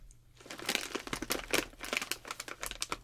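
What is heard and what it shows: A full bag of Zapp's Evil Eye potato chips, made of metallized plastic film, is held and squeezed by the fingertips of both hands over a red box. After a brief quiet start, a dense run of bright, sharp crinkling bursts follows, each snapping off quickly with little low end.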